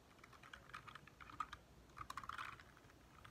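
Fingertips of both hands type rapidly on a compact 60% backlit mechanical keyboard with white-lit plastic keycaps, resting on a dark desk. Quick, crisp key taps with a clicky midrange character come in two bursts, with a short lull between them.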